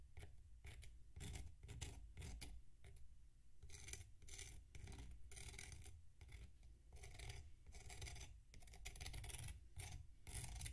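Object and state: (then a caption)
Packed sand block being scraped. A metal knife scrapes down the side of a tall, solid mound of packed sand resting on a plate. It makes repeated short, bright, gritty rasping strokes over a steady low rumble, and each scrape cuts off quickly with little ring.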